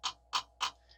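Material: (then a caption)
Steel. Three sharp taps, followed by a faint fourth, on a primed, fuel-filled metal fuel filter canister on a Cat C7 engine. Each tap is short and dull with almost no ring, centered around 1 kHz with some brightness higher up. The full filter gives this deadened knock, which shows it has been primed.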